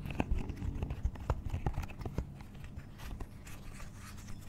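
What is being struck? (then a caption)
Silicone pop it fidget toy. A hand-sized, pastel pink and blue octagonal silicone pop it with hollow bubbles is held in one hand while the long nails of the other hand tap and scratch across it. Quick, dull, low thuds come in an irregular patter over a soft scratching rustle. The taps stop dead with no ring, and the clip grows quieter toward the end.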